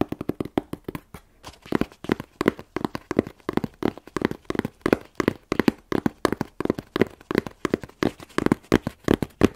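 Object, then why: Corrugated cardboard box. A medium, closed, hollow corrugated cardboard shipping box with a UN3481 label is held and tapped with long nails and fingertips on its side and label. The result is rapid, dry clusters of taps, each with a hollow, papery knock around 240 Hz and almost no ring. Sharp clicky nail edges come through over the soft body of the box.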